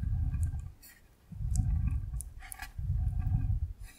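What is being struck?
Clear plastic box of water beads.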